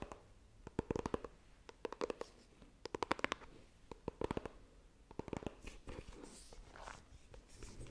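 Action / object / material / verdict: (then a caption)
tap / small coated cardboard box / cardboard / none. Long nails scratch and tap the surface of a small, hollow white iPhone retail box made of coated cardboard as it is turned between horizontal and upright. Quiet, dry clusters of quick, crisp taps with a hollow mid-range knock alternate with soft, brushy scratching. Each tap dies away almost instantly.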